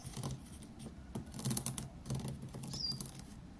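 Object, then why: Row of plastic felt-tip markers on a desk mat. A row of thin, hollow plastic felt-tip markers lying on a desk mat is tapped and drummed with fingertips. It makes a quiet, quick patter of light clicky taps, with soft low thuds under bright, high ticks. Each tap dies away almost at once.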